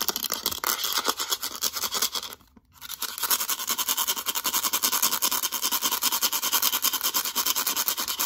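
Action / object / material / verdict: scrape / hard plastic calculator casing / plastic / none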